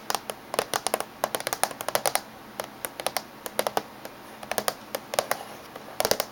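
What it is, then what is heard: Laptop casing tapped with fingernails. Fingernails tap on the top surface and edge of a closed silver laptop. Thirty-two short, dry, bright clicks come in quick irregular bursts with brief pauses between, each dying away almost instantly.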